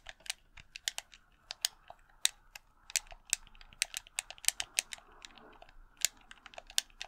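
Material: Plastic.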